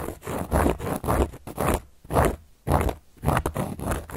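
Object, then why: Cork board. A carving tool is scratched across a large, round, solid cork board in a series of rough, rasping strokes. Each stroke gives a dry, gritty scrape with a low rumble beneath it and short quiet gaps between, in a loose back-and-forth rhythm.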